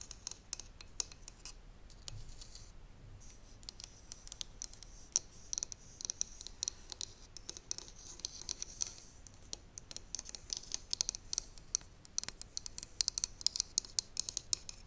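Long nails scratch along the metal soleplate of a steam iron held upright, making a dense run of quick, dry scrapes and clicks. The sound is thin and bright, with little low end and no ring after each stroke.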